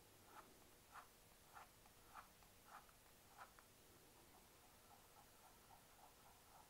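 Long nails and fingertips tap and click on the top of a small, hollow black plastic computer mouse resting on a mouse pad. Sharp, hollow clicks centered near 1 kHz come at a slow, uneven pace, with a stronger group in the first half giving way to softer, lighter taps. The whole sequence is quiet against a steady background hiss.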